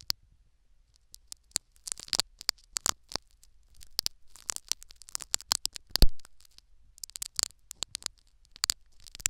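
Syringe needles scratch a foam sponge plug set in the canal of a silicone ear microphone, making many short, sharp scratching and tapping clicks with bright high hiss. A low, steady rumble sits underneath, and one louder, fuller scrape lands near the middle.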